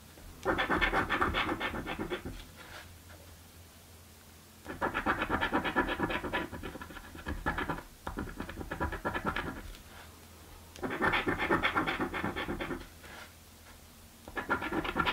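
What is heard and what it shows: A coin scratches a thin, flat purple cardboard scratch-off lottery ticket (a birthday scratchie). The dry, rasping scrapes come in several bursts of rapid back-and-forth strokes, bright and papery in the mid-to-high range, separated by short quiet pauses.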